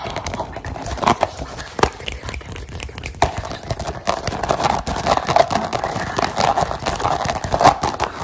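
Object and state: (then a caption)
Textured rubber mat. Long painted nails and fingertips rapidly tap and scratch a soft, flat, grey-green rubber or foam mat with a dotted textured surface lying on a wooden table. The result is a dense, continuous patter of dry, short taps and scratchy rubs centered in the midrange, with occasional sharper, louder taps standing out.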